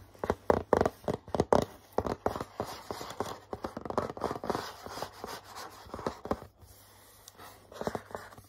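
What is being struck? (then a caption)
Cardboard box. Fingertips and short nails tap and scratch a hollow purple cardboard box with a Hello Kitty pattern. They make a quick run of soft, dull taps and scratchy rubs in the midrange, busiest and loudest in the first two seconds. The taps then thin out into lighter, scattered strokes with a brief pause near the end.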